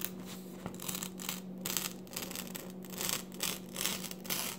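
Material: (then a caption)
Paper. Glossy pages of an open paper magazine lying on a table are lifted and flipped by hand while the other hand rests on the pages. Bright, crisp rustling and crinkling come in repeated bursts, with soft brushing between them and a faint steady low hum underneath.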